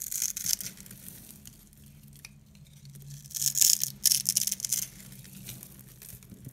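A metal box-cutter blade scrapes and carves a grid into a solid, hand-sized yellow oval bar of dry soap held in the palm, leaving crumbly yellow shavings. Bright, crunchy scraping bursts come at the start and again in the middle, separated by quieter stretches with a faint low hum.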